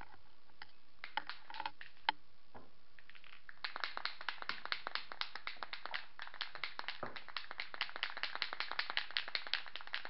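A metal can of spray primer with a mixing ball inside is shaken up to mix the paint. A few scattered clicks come first, then a quick, steady run of bright, sharp rattles continues to the end.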